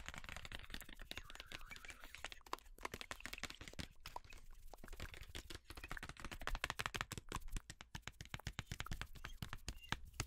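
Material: Cardboard.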